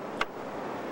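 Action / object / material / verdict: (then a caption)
knock / windsurf boom front jaw clamp on mast / unknown / locked. A windsurf boom's front jaw clamp is closed onto the mast, giving a single short, dull snap around 0.2 seconds that dies away quickly over a steady low background hiss. The dull sound on closing indicates the boom is correctly assembled and locked.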